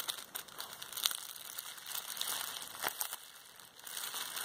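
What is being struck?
Plastic bubble wrap roll.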